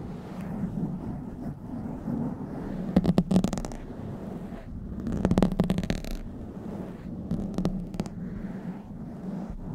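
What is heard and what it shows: Long white-tipped nails of both hands scratch and rub a blue foam windscreen on a black microphone. A steady, muffled, low rumbling scrape runs throughout, with louder bursts of bright, crackly scratching around 3, 5.5 and 7.5 to 8 seconds.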